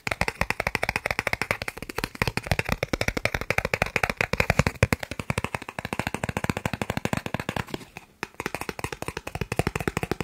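A thin, solid green plastic gift card is held in one hand and tapped fast with the fingertips of the other. The result is a dense, steady stream of short, dry clicking taps with a bright edge and almost no ring, pausing only briefly near the eight-second mark.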